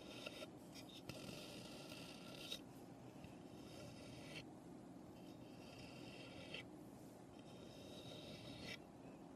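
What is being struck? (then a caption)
Small pine birdhouse. Long nails scratch along the roof edges of a small, hollow birdhouse made of light, unfinished pine. The result is a steady, bright, raspy scraping that comes in several long strokes with brief quieter gaps between them, over a soft low rumble.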